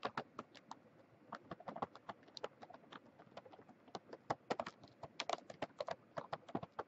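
Fingertips and long nails of a flat hand tap and scratch across the front of a sealed Mint Oreo package, a plastic film wrapper full of cookies. Quick, sharp, crinkly ticks and clicks come in irregular bursts, each dying away almost instantly, with brighter clusters toward the end and only a faint hiss between them.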